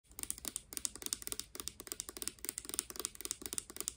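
Long dark-painted nails tap fast on a hand-sized, hollow, clear plastic Garnier Fructis hair serum pump bottle with a green pump, partly filled with clear liquid. A quiet, rapid run of about 29 bright, clicky taps is heard, each dying out almost instantly with very little low end.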